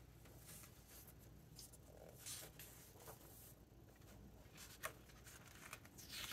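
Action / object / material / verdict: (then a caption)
scrape / paper hardcover book / glossy paper / none. Fingertips rub and flip the glossy paper pages of a large open hardcover book. Soft, bright rustles and swishes rise and fade over a quiet, steady low hum, with a sharper crisp snap of a page near the end.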